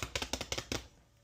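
A freshly baked no-knead bread loaf, just lifted out of the Dutch oven on a sling, is tapped on the bottom in a quick series of dry, hollow knocks that stop abruptly. The hollow sound, along with a thermometer reading of about 209°F, confirms the bread is done.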